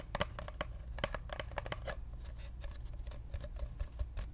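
A hollow brown cardboard paper-towel roll, held horizontally, is scratched and tapped with long nails. It gives a quick run of dry, clicky taps and scratchy strokes with a faint hollow ring around 590 Hz over a low, steady rumble. The hits die away almost at once.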